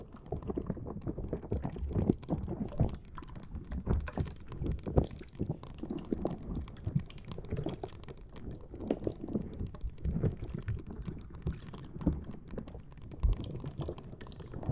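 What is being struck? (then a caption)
Rubber spiky squishy ball. Fingers rub and squeeze the spikes of a fist-sized green rubber or silicone spiky puffer ball while long painted nails scratch through them, close to the recorder. A dense, continuous run of soft, muffled squishing and rubbery scratching, heavy in the low end, with brief louder squeezes standing out.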